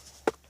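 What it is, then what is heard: Buried metal water pipe. A single knock on a buried metal water pipe, exposed among tree roots while being dug out, checked to confirm it is metal. It gives one sharp, short tap with a mid-pitched tone that dies away almost at once, over a faint steady hum. The knock confirms it is the water line.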